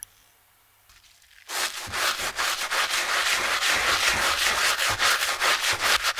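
A gloved hand scrubs the black knit textile upper of a hollow, empty Skechers running shoe resting on a towel, using a wooden-handled bristle brush and soapy foam. After a quiet start, steady back-and-forth brushing begins at about one and a half seconds. It makes a bright, hissy, rhythmic rubbing at roughly two and a half strokes per second.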